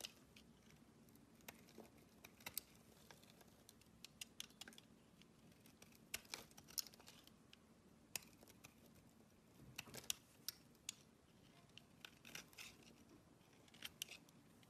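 A metal blade scrapes shavings from the face of a solid oval green bar of soap cupped in the hands. Quiet, bright, crisp scratching and clicking scrapes come in irregular bursts, with occasional sharper ticks over a faint steady low hum.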